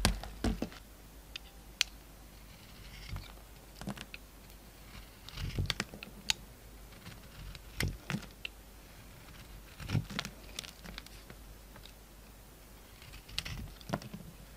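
A utility knife cuts slices and curls from a hand-sized solid oval soap bar with a dark brown embossed coating and a yellow interior. Soft, dry scraping and crisp clicking cuts come in scattered bursts, separated by quiet pauses.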